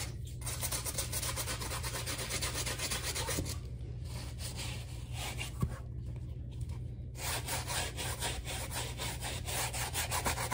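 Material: Rubber.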